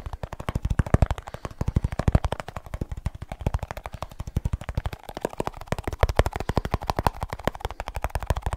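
Fingertips quickly tap the lid and rim of a small, round, hollow plastic snus tin held close up in one hand. The result is a rapid, steady stream of short, dull, low-pitched taps with almost no high end and no ring between hits.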